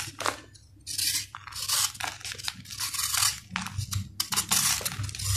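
A steel knife shaves and cuts into a solid, dried sand-cement ball, breaking off crunchy crumbs. Repeated bright, gritty scraping and crunching bursts rise and fall over a faint low hum.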